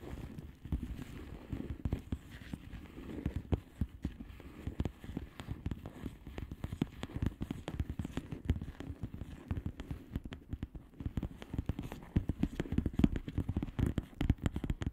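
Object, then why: Plastic bubble wrap mailer. Long manicured nails of both hands tap rapidly on a flat plastic bubble wrap mailer with hollow air bubbles. The result is a dense, continuous stream of short, dull clicks and soft pops, weighted toward low tones, with brief louder taps scattered throughout the 15 seconds.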